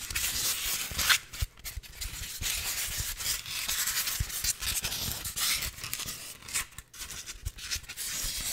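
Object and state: Styrofoam block.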